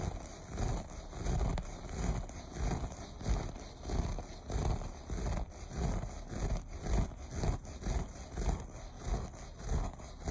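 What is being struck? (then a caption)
Looped pile carpet. Fingers with short nails scratch the loops of a beige looped carpet. The result is a steady run of soft, rough scratching strokes, about fourteen over ten seconds at an uneven pace. The sound is mostly deep and muffled, with a faint bright hiss on top.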